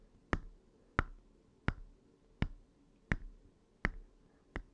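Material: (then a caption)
Plastic. Short fingernails tap the hard plastic screen cover of an open red Game Boy Advance SP, a small hollow plastic handheld console with its screen off. Seven sharp, dry clicks land at roughly even spacing. Each has a low thump and a brief hollow ring near 1–2 kHz that dies away almost at once.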